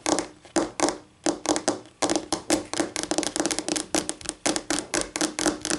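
Polished acrylic nails on both hands tap rapidly on a flat, solid white laminate tabletop. Quick bursts of sharp, bright clicking carry a hollow tone near 300 Hz, and each tap dies away almost at once.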